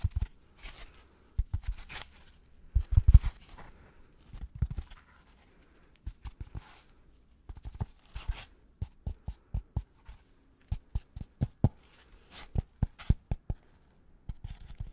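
A brick-sized white polystyrene foam packing insert, solid with two oval recesses and held in one hand, is scratched and tapped with black-gloved fingertips. Irregular bursts of dry, squeaky scraping in the first half give way to a series of short, sharp, dull taps, quiet overall and heavy in the low end.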